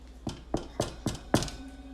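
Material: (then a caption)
Bread crust. A freshly baked sourdough loaf, just out of the oven, is tapped five times to check for the hollow sound. Each tap gives a short, dull, hollow thunk with almost no ring. The hollow sound shows the loaf is baked through.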